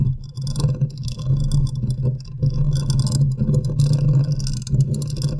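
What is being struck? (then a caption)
Metal mesh microphone grille. Long nails scratch the side of a large condenser microphone's hollow metal mesh grille. The result is a close, heavy low rumble with a steady hum-like tone, while bright, raspy scratching bursts come and go on top in uneven strokes.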